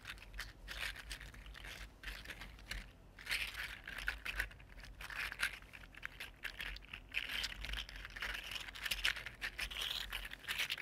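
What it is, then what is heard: 3D printed plastic articulated slug. A red-gold 3D printed plastic articulated slug resting on a table is wiggled and bent with the fingertips, making its plastic segments click. The result is a dense, continuous stream of quick, bright, crinkly clicks and rattles rising and falling in bursts for about eleven seconds, over a faint steady low hum.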